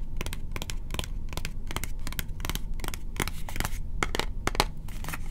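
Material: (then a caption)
Cardboard. A small, hollow, lilac cube-shaped cardboard box is held in one hand and tapped and scratched with fingertips and short nails. Quick, crisp, dry taps and scratchy strokes follow each other in a steady, uneven rhythm over a constant low rumble, each tap dying away almost instantly.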